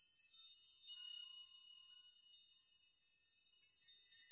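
Fingers gently brush a chime of many long hanging steel nails, making them jingle and rock. A quiet, bright, high tinkling rings with no low end, rising in about five soft swells of clustered metallic pings.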